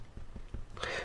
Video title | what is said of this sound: 🔴live: What are you cooking with your harvests? | Sounds nice and hollow when we tap it.